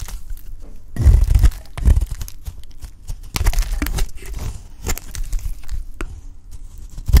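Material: Soap.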